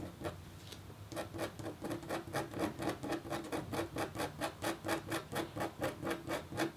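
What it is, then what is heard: Copper foil scratch art board being etched. A red-handled metal stylus etches a thin, flat, black-coated copper foil scratch art board with short scratching strokes. The rasping scrapes come in a steady rhythm of about two per second, each a brief bright burst over a low steady hum.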